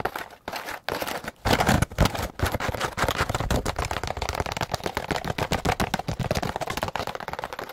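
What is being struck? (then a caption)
Molded plastic egg carton. A white molded plastic egg carton with a hollow, bumpy egg-cup surface, held flat, is rapidly tapped and scratched with long pointed acrylic nails. A dense stream of sharp, dry clicks and scratches runs nearly continuously, with a few brief pauses early on.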